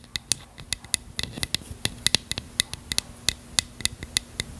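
A small, hollow bottle of translucent purple plastic with a cap is tapped and scratched with long fingernails. About 19 quick, bright clicks ring out with almost no decay, over a faint, steady scratching hiss. The taps come in an uneven rhythm.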